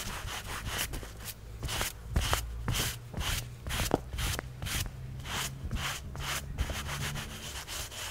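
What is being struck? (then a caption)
Textile carpet car floor mat. A gloved hand scrubs a large, wet, soapy black textile carpet floor mat from a Mercedes back and forth with a wooden-block-handled hand brush as it lies flat on a wet garage floor. Bright, bristly swishing bursts repeat roughly twice per second over a low, steady rumble.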